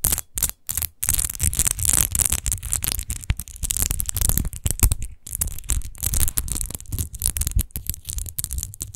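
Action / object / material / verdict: scrape / textured glass bottle / glass / none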